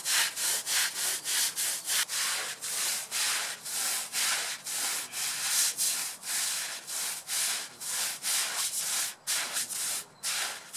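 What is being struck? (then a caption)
Wet synthetic fiber rug. A long-handled scrub brush is pushed back and forth over a large, wet, muddy black, red and grey patterned synthetic rug lying flat on a concrete floor. The result is a steady run of bright, hissy rubbing strokes with brief dips between them and almost no low end.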